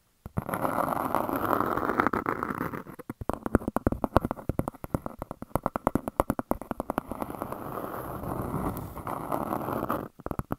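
Long dark nails scratch and tap a large, flat, round grey speckled disc that looks like granite stone and is solid. A steady dry scraping gives way to a quick run of sharp, clicky taps. The clip then returns to scratching, and a few last taps close it.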